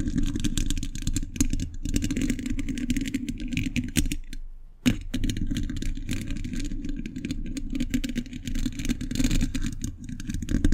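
Metal thimbles on the fingertips tap rapidly on a hollow steel mesh microphone grille. The result is a dense, continuous clatter of short, dry, low-heavy taps with a faint bright edge. The tapping pauses briefly near the middle, then resumes at the same fast pace.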